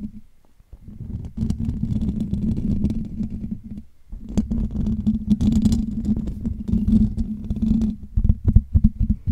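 Fingertips of both hands scratch the hollow metal wire-mesh dome grille of a Blue Yeti USB microphone. The result is a dense, rough, low rumbling scrape with a steady tone near 200 Hz and faint brighter crackles above. It plays in two long bursts separated by a brief quiet gap near the four-second mark.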